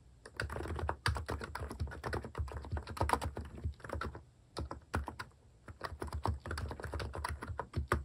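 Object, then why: Plastic keycap keyboard. Fingertips type steadily on a Hanmumu keyboard with plastic cat keycaps, producing a quick, continuous stream of short, dull clacks. The clacks are weighted toward the low end with little brightness, and they die away instantly. Brief pauses near the middle interrupt the typing before it picks back up.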